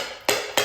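Two sharp metallic taps on the valves of an old seized engine, each a bright ringing click with a springy tone that decays quickly. The metal valves and valve springs answer freely, showing the valves are moving and sound good.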